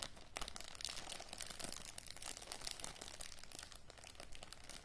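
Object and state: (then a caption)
Plastic zip-lock bag being crinkled. Fingertips with long matte grey nails crinkle and scratch a small clear plastic zip-lock bag with a red seal strip and dark contents. The result is a dense, continuous run of quiet, sharp crackles with bright highs and low rumble underneath, and no clear pauses.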